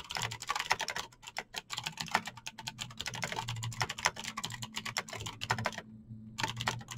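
Fingertips type fast on a Razer BlackWidow backlit plastic mechanical keyboard with clicky green switches, producing a rapid stream of sharp, bright clacks and taps. The keystrokes run almost continuously with a brief pause near the end before typing resumes, while a faint low hum sits underneath.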